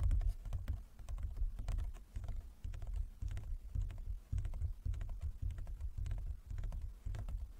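Fingertips and nails of both hands tap rapidly across a large, closed, hollow wooden folding chess board. Deep, resonant thuds blend with bright, crisp nail clicks in a steady, dense patter that keeps going throughout.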